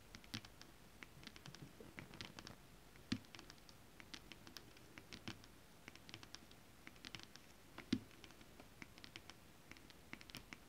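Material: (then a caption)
Foil-coated fabric. Long acrylic nails on both hands scratch a flat piece of holographic mermaid scale fabric, an iridescent foil-coated scale-print stretch fabric. The result is a quiet, irregular patter of soft, dry scratches and crisp ticks with bright, short clicks. A few louder taps stand out near the three- and eight-second marks.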